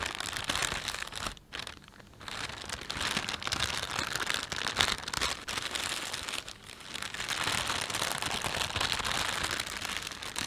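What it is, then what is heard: Plastic shopping bag. Fingertips pinch and rub the film of a thin, empty panda-print plastic shopping bag. The result is a steady, bright crinkling and crackling, with short quieter dips around 1.5–2 seconds and again near 6.5 seconds before the rustling picks back up.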